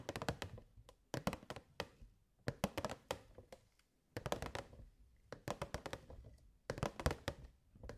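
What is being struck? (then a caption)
Clear plastic box. Long nails tap the side panels of a hollow, clear plastic box with purple fairy lights inside. They play quick bursts of short, dry taps, each with a bright clicky edge over a low hollow thunk. The taps die away almost instantly, with brief pauses between the clusters.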